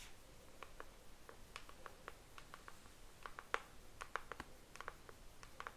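A pink cardboard Mojave hairbrush box, hollow packaging with the brush inside, is held close while long nails tap and scratch its surface. Quiet, dry clicks and light scratches come in irregular bursts, each with a short bright tick around the mid range that dies away almost instantly. A soft low hiss sits underneath.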